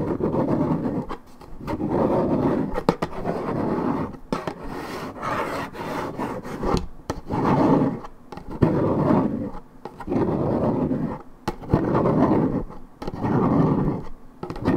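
Long nails scratch and rub the side panel of a hollow Minute Maid 1.75 L coated paperboard orange juice carton. Repeated low, rasping scrapes come in strokes about every one to two seconds, each with a dull papery body and little brightness.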